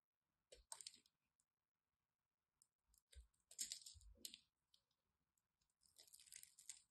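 A solid orange-and-white striped bar of soap has its surface scored and scraped with a craft knife. Brief, bright scratching and crisp clicking bursts come in short clusters with gaps between them, and a few soft low thumps sit underneath.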